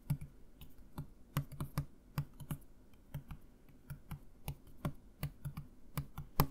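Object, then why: Plastic bottle with liquid. A Listerine plastic mouthwash bottle with liquid inside, held upright by the mic, is tapped with fingertips and nails in an irregular rhythm of 20 short, separate taps. Each tap is a soft, dull, low thump around 150 Hz with a light click on top, and it dies away almost instantly.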